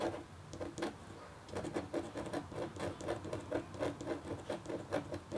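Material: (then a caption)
Copper foil. The metal nib of a red scratch stylus makes repeated short scratch strokes across a flat, thin, solid black-coated copper-foil scratch board, about A4 in size, lying on a table. Each stroke is a quick, dry, bright scrape with a faint tonal buzz around 290 Hz, and the strokes come steadily after a softer start.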